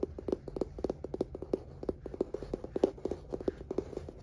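Fingertips and nails rapidly tap and scratch a light oak-grain wooden table, a solid flat panel, in about thirty quick, dry knocks. Each tap is short and woody with a hollow tone around 380 Hz and almost no ring. A faint bright scratching hiss runs between the taps.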